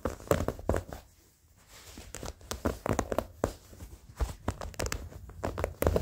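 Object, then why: Denim jeans fabric. Short fingernails scratch the fabric and seams of old blue denim jeans, with the hand raised at the start. Bursts of dry, rough scratching strokes with soft low thuds drop into a near-silent pause around the first second and a half, then pick up again.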